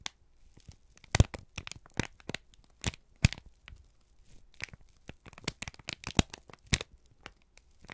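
A single thin, crumpled sheet of brown kraft paper, held in both hands, is squeezed and crinkled with the fingertips and thumbs. It makes a rapid series of sharp, dry crackles and crisp tearing-like crinkles that reach bright highs. Quiet rustling fills the gaps between them.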